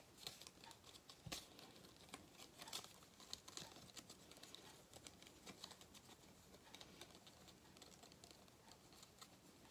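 A thin gold-foil cardboard galette des rois crown, a flat hollow band held in both hands, is crinkled and rubbed with fingertips close to the face. The result is a soft, steady stream of dry, bright crackles and papery rustles with quick sharp snaps scattered throughout. There is little low-end body.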